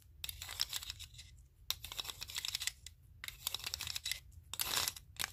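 Wooden clothespins with metal springs, clipped onto fingertips, tap and click against a stack of wooden clothespins clipped together. Many quick, bright, dry clicks and scratchy ticks come in bursts separated by short pauses, with almost no ring after each one.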